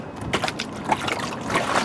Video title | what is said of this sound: Vlog For May 18th 2016 - My Car Door Is Holding Water! | there is water inside my door